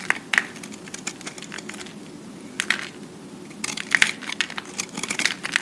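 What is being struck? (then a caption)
Soap cube. A solid green-and-white recycled soap cube is held in the hand while a utility-knife blade scrapes and carves its faces, shaving off soap flakes. Quick, bright, crisp scraping and crackling bursts come in clusters over a quiet, steady background.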